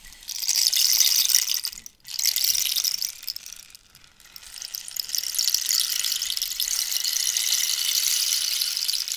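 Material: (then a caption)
Dried cactus. A long, hollow, dried-cactus wooden rainstick is tilted between angles while long nails scratch and tap its ridged wood. The result is a bright, hissing patter of tiny rapid clicks, like falling rain. It swells and fades in waves, with near-silent dips around two and four seconds, then settles into a steady shower.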